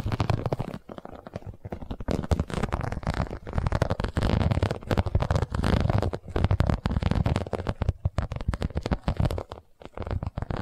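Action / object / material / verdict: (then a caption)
scrape / embossed vinyl cosmetic pouch / vinyl / none. Long nails tap and scratch the sides of an iridescent, embossed holographic vinyl cosmetic pouch. The result is a dense stream of quick, dry, crackling taps with a heavy low thump, broken by a few brief pauses.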